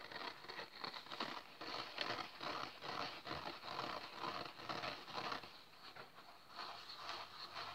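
A small, solid, dry yellow polyurethane foam kitchen sponge with a green scouring pad is held, squeezed and rubbed by hand, then laid flat while the green pad is scratched with fingernails. It gives a quiet, continuous crackling, scratchy patter of fast, uneven strokes, mostly midrange and bright with little low end and short decays.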